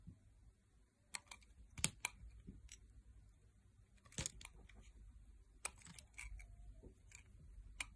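A metal blade carves slices and wedges from the surface of a solid, oval, pale pink bar of soap held in the hand. Short, crisp, bright cutting clicks and scrapes come in scattered bursts over a faint low rumble, each dying away almost instantly.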